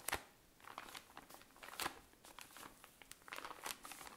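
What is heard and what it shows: A tall cylindrical pack of cotton pads in thin plastic wrapping is squeezed and crinkled with fingernails. Quiet, irregular bursts of bright crinkling and crackling come and go, with a few sharper, louder snaps of the plastic standing out between softer rustles.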